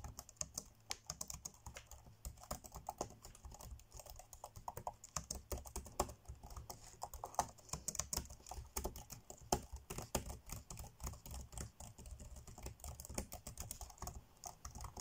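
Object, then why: Plastic laptop keyboard keys. Fingertips tap fast on the dark grey plastic chiclet keys of an ASUS laptop keyboard, typing in a steady stream of quick, dry clicks. Each tap dies away almost instantly, with a soft low thud under a bright plastic tick, and a few louder keystrokes stand out from the rapid patter.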